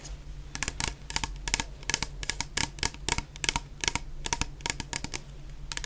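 Long painted nails tap rapidly on a medium clear plastic bottle full of orange shower gel with a white cap. The taps are sharp, bright clicks in quick irregular clusters that die away almost instantly. A steady low hum runs underneath.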